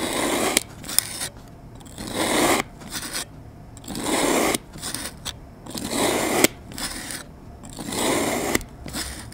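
A metal utility knife blade cross-cuts a solid lime-green kinetic sand mound on a board into small pieces in repeated slicing strokes. Five drawn-out, gritty scraping swishes rise and fade in a steady rhythm, with occasional sharp clicks and quieter rustling between strokes.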